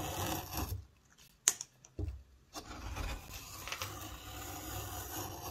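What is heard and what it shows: A steel hook knife carves shavings from inside the round hollow of a light-colored softwood bowl blank that is empty apart from chips. A bright, rasping scrape gives way to a near-silent pause broken by a few sharp clicks, then steady scraping and shaving resumes to the end.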